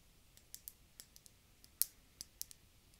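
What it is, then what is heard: Empty glass globe bottle tapped with fingernails. An empty, round, hollow, clear glass bulb-shaped bottle is held in both hands and tapped with long dark-painted fingernails. Eleven soft, bright, very short clicks come at an uneven pace, with one sharper tap near the middle, over a quiet hiss.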